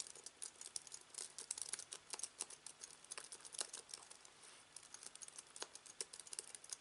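Fingertips type on a slim aluminium keyboard with white plastic keys resting on fabric, producing a rapid, irregular run of crisp, bright clicks and taps. Each keystroke is short and dry with almost no ring, and there is essentially no low-end body to the sound.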